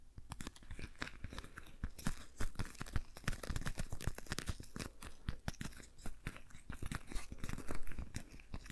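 A patterned rubber dish glove is worn on a hand while its fingers are rubbed and squeezed together. The result is a steady run of quiet, close squeaks, crinkles and soft crunchy rubs, each short and dry with no ring, coming in dense irregular bursts.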